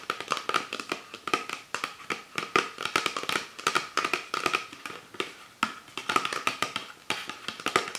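Fingertips and nails tap rapidly on the labeled body of an empty, hollow PET Pepsi Sakura soda bottle held on its side. The result is a dense stream of short, dry plastic clicks with almost no ring, a hollow tone around 1.3 kHz and bright upper edges, and no low end.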